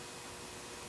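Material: Nothing is struck.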